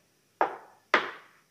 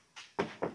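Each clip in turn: First: steel car chassis frame. Second: plastic car body panel.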